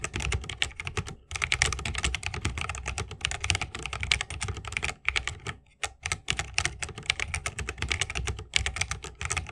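Fast typing with the fingertips of both hands on a 60% mechanical keyboard with plastic keycaps on tactile Holy Panda switches, set in a solid bamboo wooden case with RGB lighting and resting on a wrist rest. A dense stream of bright, crisp clacks with a low thocky body, broken by brief pauses near 1 second and between 5 and 6 seconds.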